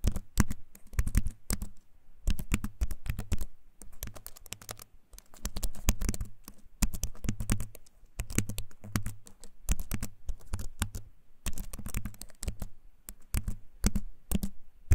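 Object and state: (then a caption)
Wooden-frame keyboard with plastic keys. A compact keyboard with a wooden frame and plastic keys is held up close and typed on with the fingertips, giving rapid, uneven bursts of clicky keystrokes. Each tap is short and dry, with a low thump in the body and a bright click on top. The bursts are broken by brief pauses.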